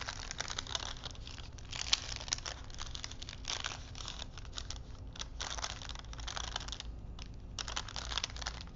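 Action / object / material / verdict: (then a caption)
scrape / paper strip wound on wooden spools / paper / none. Fingertips wind a thin printed paper film strip between wooden spools, flexing the paper so it crinkles. The result is a continuous run of bright, dry crinkling and rustling in uneven bursts, with a few sharper crackles, over a steady low hum.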